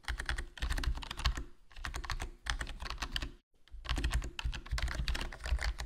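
Fingertips type continuously on a HyperX Alloy Core RGB plastic membrane gaming keyboard with a foam mod, black plastic body, black plastic keycaps and a hollow case. Soft, dense clusters of low, muffled key presses come in bursts, with brief pauses between runs of typing.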